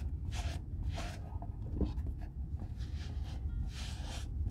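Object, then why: Leather boot. A folded white cloth rubs a hollow brown leather Red Wing Weekender Chukka boot held in one hand as it is re-oiled. Soft, breathy swishes rise and fall with each stroke over a steady low rumble, with faint squeaks of cloth dragging on leather.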